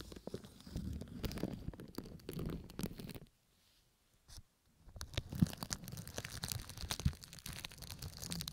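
Thin red-tinted plastic cling wrap bunched over the ears of a binaural microphone is rubbed, squeezed and crinkled by fingertips with painted nails. The result is close, dense crackling and rustling with heavy low-end rumble, broken by a near-silent pause around the middle before the crinkling resumes.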